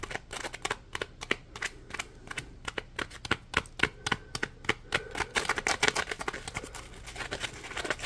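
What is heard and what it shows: Fingertips flick and scratch the ridged side of a yellow, palm-sized, solid polymer foam Scrub Daddy sponge held upright. The result is around forty quick, dry, bright ticks and scratchy snaps in an irregular, brisk rhythm. Each one dies away almost instantly over a faint low background hum.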